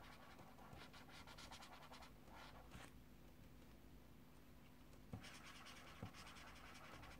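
A yellow colored pencil is scratched and rubbed back and forth across the paper page of a small paperback mandala coloring book lying open on a desk, while fingertips hold the book steady. The result is a continuous dry, bright rasping in uneven strokes over a low, steady background, with a couple of sharper taps near the end.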